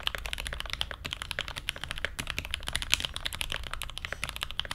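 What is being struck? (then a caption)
Mechanical keyboard with ABS keycaps on a brass plate. An SG81M mechanical keyboard with Everglide Aqua King switches, a brass plate and blue ABS keycaps is typed on continuously with the fingertips of both hands. Quick, dry, clacky keystrokes follow one another in a steady stream, each short with almost no ring, bright around 3 kHz over a low, soft underlayer.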